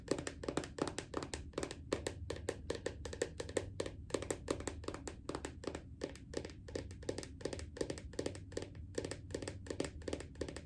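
Long acrylic nails tap quickly on the plastic lid of a small round red body butter tub resting on a leg. The result is a steady stream of short, dry clicks with a hollow plastic tone around 400 Hz and almost no ring, over a low background hum.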